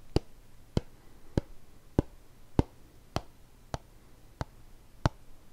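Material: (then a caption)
Plastic. A hollow white plastic shampoo bottle with a blue cap, held horizontally, is tapped with fingertips along its body. Nine short, dry, low taps come at a slow, slightly uneven pace, each dying away almost instantly over a faint steady hiss.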